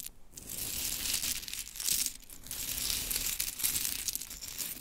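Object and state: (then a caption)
Pile of mini wooden clothespins. Hands gather a pile of small pink mini wooden clothespins, then long chrome nails scratch and tap through them. The result is a steady, dense, bright clatter of rustling and crinkly scraping that swells and dips without clear gaps between contacts.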